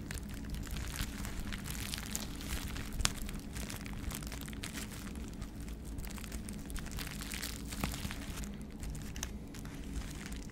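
A small sheet of clear plastic bubble wrap, held in both hands, is scratched and squeezed with the fingers, making continuous quiet crinkling and scratching over a steady low rumble. A few sharper pops and crackles stand out, with the clearest near 3 seconds and near 8 seconds.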